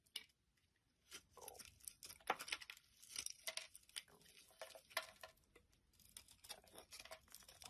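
A utility knife blade carves long curls and shavings off a solid orange bar of soap held in the hand. After a brief quiet start, dense, bright, crisp scraping and crunching strokes follow one another in quick succession, each dying away almost instantly.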